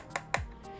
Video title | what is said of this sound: BOTW Link FIG REVIEW (Full Unboxing and Reactions~) | I don't know if you can tell like by the sound, but it's hollow inside